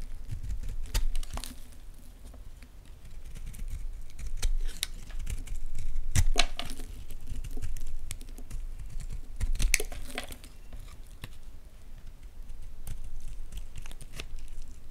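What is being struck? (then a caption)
Bar of soap cut with a blade. A solid white Palmolive bar soap is held in the hands while flakes are carved and broken off with a blade and fingers. Irregular, crisp clicks and brief scraping snaps sound over a steady low rumble, each dying away quickly.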